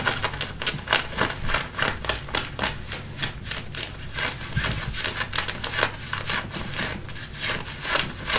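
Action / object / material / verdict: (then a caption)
scrape / denim jeans fabric / denim / none. Fingernails scratch and rub the front and back pockets of light-blue button-fly denim jeans while they are worn. The clip is a steady stream of raspy, bright scratching strokes on the fabric, with quick repeated bursts and soft low thumps underneath.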